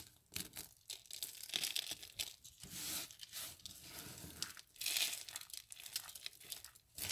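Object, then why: Soap curls crushed by hand. Dry soap curls are broken apart by fingers, then handfuls of soap flakes are squeezed and crushed. The result is a run of bright, dry crackling and crunching bursts, almost all high in pitch with little low end, each swelling and fading in quick, uneven waves.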